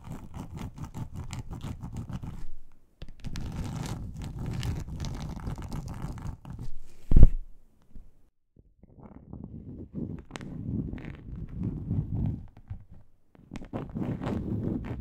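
Long acrylic nails scratch the surface of a large, flat, grey textured plastic board, a solid thin sheet, with the hands moving close up at the end. The scratching comes in dense, low, rumbly bursts with short silent gaps between them. One sharper, louder tap stands out near the middle.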